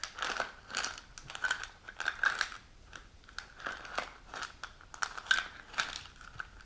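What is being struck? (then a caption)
Plastic pill bottle with cap. A white plastic supplement bottle with a white cap, hollow and holding tablets, is held in the hands while long nails scratch and tap on its cap and label. Quick crinkly scratches and light clicky taps come in uneven bursts, with a bright hiss over a steady tone around 1.5 kHz and almost no low end. Each sound stops short with little ring.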